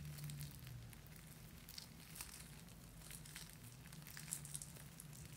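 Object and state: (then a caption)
Fabric drawstring soap pouch being crinkled. A small black cloth drawstring bag holding a soap bar, with a paper tag, is squeezed and crinkled with fingertips and long nails. Quiet, irregular crinkling and rustling with scattered bright, sharp crackles sits over a steady low hum.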